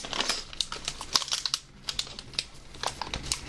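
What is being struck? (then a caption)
Plastic snack bag with chips. A hand-sized black and orange plastic snack bag of Gringo Jack's Classic flour tortilla chips, partly filled with chips, is held in both hands and crinkled and squeezed with the fingertips. It makes a quick run of bright, sharp crackles and rustles that stop almost instantly, with little low end beneath them.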